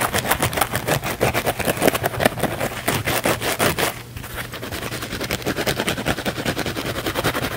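A small blue kitchen cellulose sponge with a scouring pad, held in the hands, is scratched rapidly with the fingernails across its porous cellulose side. A fast run of dry, crackly, broadband scratches repeats at a brisk, uneven pace. The scratching briefly dips around the middle, then continues a little softer and more even to the end.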